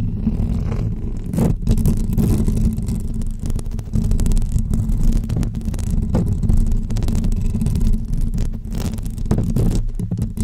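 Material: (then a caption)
Metal mesh. Long fake press-on nails scratch and tap the hollow woven metal dome grille of a pink microphone, producing a dense, steady low rumble with occasional brief brighter scrapes. The scratching blurs into a continuous, boomy texture with no clearly separate hits.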